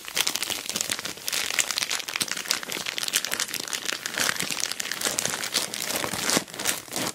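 Long black nails scratch and fingertips rub and squeeze an orange plastic Temu shipping bag wrapped over a boxed package. The result is a steady, dense crinkle of bright, crisp plastic crackles with almost no low end, broken by a brief pause about six seconds in before the rustling resumes.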